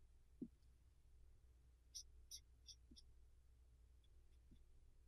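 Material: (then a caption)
Pumpkin rind. A black marker tip rubs and squeaks over the smooth rind of a large, whole, hollowed orange pumpkin while drawing a face, with the other hand steadying the pumpkin. Soft, low dull taps stand out over a steady low hum, and a short cluster of bright, quick squeaky ticks comes in the middle. The strokes are quiet and brief.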